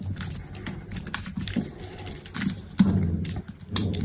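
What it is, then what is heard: Dry bar soap being shaved. A hand-held solid green bar of dry soap has scored strips shaved off with a metal utility knife blade. It makes a quick run of crisp scraping cuts with a soft, low-weighted body and brief bright flecks, each stroke fading quickly.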